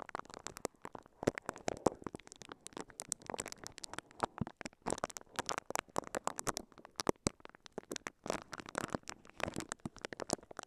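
Bristles of a pink silicone scalp massager, held in both hands, brush and scratch across a microphone covered in clear crinkly plastic wrap. Dense, quiet crackling and crinkling bursts with short, sharp, bright transients repeat in rapid, irregular clusters throughout.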